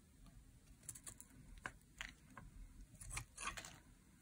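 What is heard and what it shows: A metal blade carves curls off the edge of a dry, solid teal laundry soap bar embossed with a 72% mark. About ten short, crisp scraping cuts come through, each a quick bright rasp that stops almost at once over a low, quiet background rumble.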